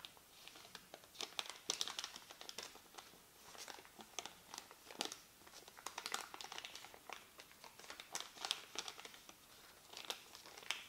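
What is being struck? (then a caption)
Thermal paper receipt. A printed white thermal paper receipt strip is held in both hands while the fingertips crumple, fold and rub the thin paper. It makes a quiet, steady stream of sharp, bright crinkles and crackles with almost no low end. Each snap dies away almost instantly.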